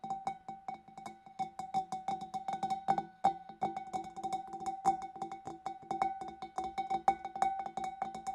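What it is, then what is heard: Glass fish bowl being tapped. Long nails tap rapidly on the neck and rim of a large, empty, hollow clear glass fish bowl, including from inside the opening. Each tap is a short, bright click with a brief ring near 780 Hz. The taps come in quick, uneven bursts throughout.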